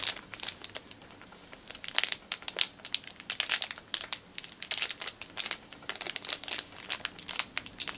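Long painted nails crinkle and rub a small clear plastic packet holding a black rubber fitness band, held in both hands. Dense, bright crinkling comes as rapid bursts of short, sharp crackles with almost no low end. Each crackle stops almost at once.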